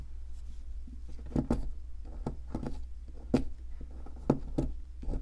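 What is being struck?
Plaster excavation block and metal chisel.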